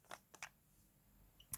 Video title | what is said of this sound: Project Pan update #10, October 2020 | you can hear the balls in there